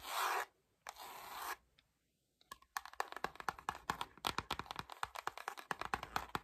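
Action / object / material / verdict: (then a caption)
scrape / cloth-covered hardcover album / book cloth / none. Long nails scratch and rub the back cover and edge of a dark-green cloth-covered hardcover album. Two long, bright rubbing strokes come first, then a brief pause, then a fast run of short, crisp scratches across the cloth surface.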